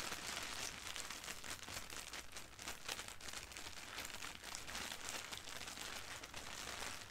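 A sheet of thin white printed tissue wrapping paper lies flat on a carpet while long painted nails and fingertips rub and scratch across it. The result is a steady, quiet, bright crinkling and scratching with dense rapid rustles and no clear gaps.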